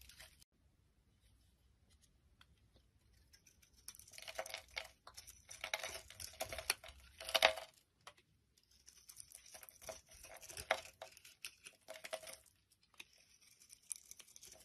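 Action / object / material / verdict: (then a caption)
scrape / glycerin bar soap shaved with a blade / soap / none. A palm-sized, translucent amber glycerin-type bar of soap held in the hand is shaved and scraped into flakes with a utility knife blade. After a quiet start, crisp, bright scraping and crackling strokes come in dense bursts, with a faint ringing tone around 645 Hz. They pause briefly near the middle, then resume until the end.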